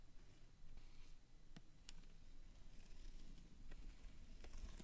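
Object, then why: Cardstock booklet cover. A wooden stick traces and scratches across the textured cardstock cover of a time sheets booklet, working down to the bottom text. The result is a quiet, low, rough scraping with occasional faint, bright ticks as the stick catches the textured surface.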